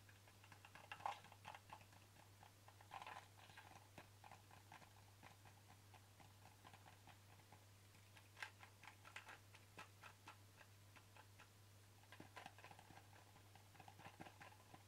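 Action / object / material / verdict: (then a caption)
tap / plastic pill bottle / plastic / none. Fingertips and nails tap the sides of a hollow white plastic supplement bottle with a ribbed cap while it is held, making quiet, dry, irregular clicking taps with a mid-range tone. Some taps are bright and sharper, with brief clusters of louder taps. A steady low hum runs underneath throughout.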